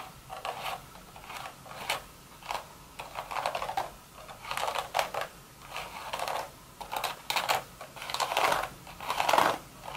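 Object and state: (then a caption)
Woven straw hat. Long, sharp red nail tips tap and scratch rapidly on the crown of a woven straw hat, which is hollow and empty. The result is bursts of dry, crackly clicking and rustling with a bright edge and a mid-range papery tone. Each burst fades quickly between uneven pauses.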